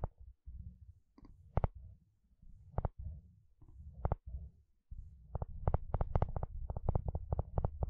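A wooden spatula strums and scratches across the long, wide teeth of a blue plastic comb. Low, rumbling scraping passages are broken by sharp, bright ticks. Near the end the strokes speed up into a dense, steady run of quick clicks.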